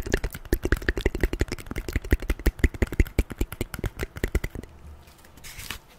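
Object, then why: Corrugated cardboard piece. Long fingernails tap and scratch the surface of a piece of folded brown corrugated cardboard held in one hand. A quick, uneven run of dry, short taps with a dull low thump carries on for about four and a half seconds. The taps then give way to quieter scratching and a brief, brighter scrape near the end.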